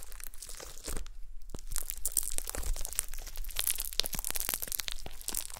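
Long nails poke and scratch a flat, solid gold glitter slime resting on a table. The result is a dense stream of sharp, bright crunching and crackling clicks with brief crinkly tearing textures over a faint low rumble.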